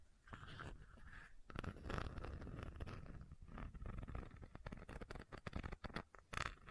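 A medium white plastic fish oil supplement bottle with a screw cap and a paper label is held in one hand while long nails tap and scratch the cap. The result is quiet, dense clicking and scraping with a low, muffled body and short, dry taps that stop almost at once.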